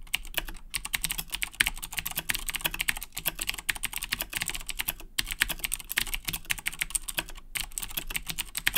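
Both hands type continuously with their fingertips on a black Razer Blackwidow 2010 Edition mechanical keyboard with Cherry MX Blue switches and plastic keycaps. A dense stream of sharp, bright clicky keystrokes runs throughout, broken only by a few brief pauses.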